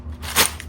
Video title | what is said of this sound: You Won't Stop Eating These Carnivore Chips (2 Ingredients) | Turn up the volume to hear how crispy and crunchy these chips are.